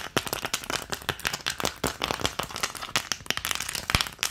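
An empty green plastic ice cube tray, held close, has its round cavities tapped and scratched rapidly with long nails. The result is a quick, uneven stream of sharp, bright clicks and scratchy rasps that stop dead with no ring, and little low end.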